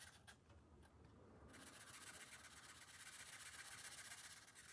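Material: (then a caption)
Paper. A green felt-tip marker makes short, rubbing strokes across the thin paper page of an open coloring book resting on a glass table. The result is a quiet, steady, bright scratchy hiss that starts patchy and becomes continuous and denser after about one and a half seconds.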